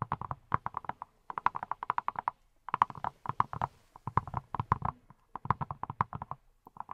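A hand-sized yellow silicone pineapple-shaped brush that appears hollow is tapped with fingertips wearing silicone rubber pads, with long nails also visible. The taps come in quick bursts separated by short pauses. Each is a soft, muted, hollow knock with a low thump that dies away at once, giving a clip-clop-like patter.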